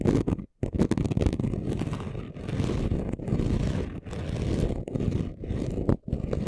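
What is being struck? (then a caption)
Chunky glitter craft sheet. Short nails scratch quickly across the rough surface of a flat, chunky gold glitter craft sheet. The result is a dense, gritty scraping in back-to-back bursts with brief pauses between strokes, weighted toward the low end.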